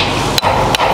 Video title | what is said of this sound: Transport Tasmania - Under Bridge Inspection | That's got a tad of a bell in it. If you hear a hollow sound, there's something not quite right.